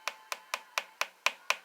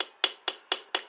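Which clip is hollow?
The second.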